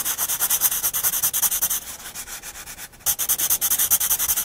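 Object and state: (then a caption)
Pencil shading on paper. A black graphite pencil, held at a low angle in one hand, shades steadily across a drawing on a spiral-bound paper sketchbook lying flat on a wooden desk. Rapid back-and-forth strokes make a bright, dry scratching and rubbing hiss with almost no low end. The strokes soften and briefly pause in the middle, then resume at full strength.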